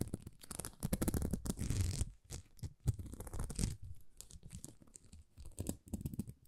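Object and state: Plastic rhinestone sticker sheet scratched with nails.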